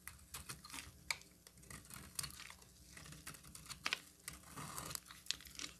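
A metal utility knife blade carves into a solid orange bar of soap, breaking off brittle chips onto a table. Quiet, dry, crisp crackles and short scraping clicks come in a steady irregular stream, mostly high and bright with almost no ring, and a few sharper snaps stand out.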